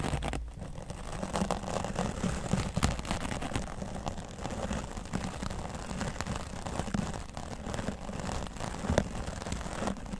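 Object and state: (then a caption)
Foam microphone windscreen being brushed. A grey foam microphone windscreen is brushed on its left side with a wooden natural-bristle brush. The result is a steady, low, rain-like rustle and crackle with frequent soft scratchy strokes and a few sharper bristle pops.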